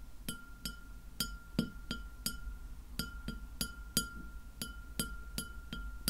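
Long fingernails tap a white glass plate lying flat, producing 15 light, ringing clinks at an uneven pace. Each tap is a quick, bright chink that fades almost at once over a low background hum.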